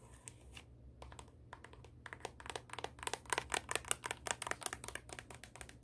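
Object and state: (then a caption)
High-heel shoe scratched with fingernails. Long acrylic nails scratch the tan sole and the upper of a black high-heel pump turned over to show its sole. Sparse, quiet clicks grow into a rapid run of short, bright scratching ticks over a faint low hum.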